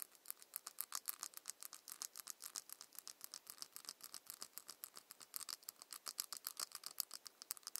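Long nails scratch and tap the ridged plastic cap of a small ceramic cosmetic bottle. The result is a quick, uneven run of dry, bright clicks and scrapes with almost no low end and no ring. Each stroke dies away instantly.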